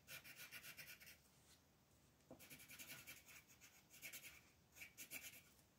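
A green wooden colored pencil rubs back and forth across a flat white paper coloring page on a table, shading leaves while the other hand holds the sheet. Soft, bright, scratchy strokes come in quick rhythmic bursts separated by brief quiet pauses.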